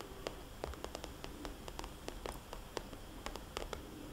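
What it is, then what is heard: Plastic cosmetics bag. A small red polka-dot glossy plastic cosmetics bag, a hollow pouch held upright at an angle, is tapped with long dark-polished fingernails. The result is a quick, irregular series of short, crisp plastic clicks that die away almost instantly, over a soft, steady hiss.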